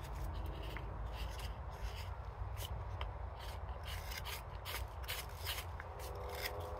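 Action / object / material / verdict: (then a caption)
scrape / birch wood spoon bowl cut with a steel hook knife / birch wood / none. A silver birch spoon held in the hand has its bowl interior smoothed with a steel hook knife that has a wooden handle, making repeated scraping cuts into the dry-ish birch. Short, bright rasping strokes rise over a steady low rumble that dominates throughout. The level stays fairly even from start to finish.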